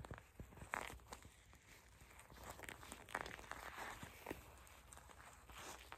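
A small, flexible, clear purple plastic eye mask filled with gel beads is held in both hands, squeezed, bent and scratched with long acrylic nails. This gives quiet, crinkly plastic crackles and soft squishing, with brighter scratchy bursts and short scraping strokes over a low background rumble.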